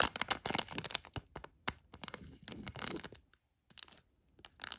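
A filled, palm-sized HotHands hand warmer package of crinkly plastic has its front and clear edges traced and scratched with a thin black tweezer-like tool. Quick, bright crinkling and scratching bursts come in irregular clusters, with a short silent gap near the end before the scratching resumes.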